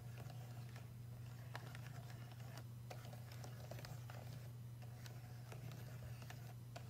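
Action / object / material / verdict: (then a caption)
tap / stainless steel payphone keypad and faceplate / stainless steel / none. Fingertips tap and trace across the square metal buttons and faceplate of a wall-mounted payphone's solid, fixed stainless metal keypad. Quiet, irregular light clicks and soft scratchy brushes rise over a steady low hum.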